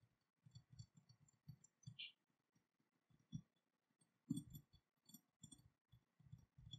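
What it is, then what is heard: Metal dagger. Long nails tap the steel blade and ornate cast-metal dragon hilt of an unsheathed dagger lying on cloth. The result is a quiet, uneven series of short, dull taps with faint high metallic pings that stop almost at once, with no lasting ring.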